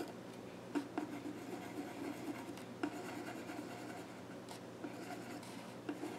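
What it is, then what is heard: Pencil scratching on a wooden stool top. A pencil scratches sketch lines across the flat top of a solid, dark-stained wooden child's stool, making a steady dry scratching and rubbing. Five sharper ticks stand out from the continuous strokes, and they die away almost at once.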